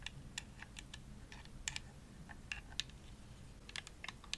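Long nails tap the shell of a hollow, purple glossy plastic Xbox controller held up close. The result is a quick, irregular run of sharp, dry, bright clicks that stop almost instantly, like keyboard typing, over a faint low hum.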